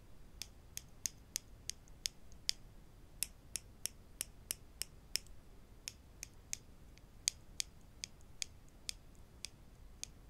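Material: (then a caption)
Wood. Wooden clothespins are tapped in a steady series of about two dozen short, dry clicks with no talking. Each tap is bright and high-pitched with almost no ring, set against a faint low background hiss.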